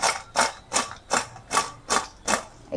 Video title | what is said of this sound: आलू पालक पकोडे - Mix vegis crispy pakode - Aloo Palak Pakoda | भज्यांचा crisp कसा झालेला आहे तुम्हाला मी दाखवते एकदम कुरकुरीत आवाज येतो भज्यांचा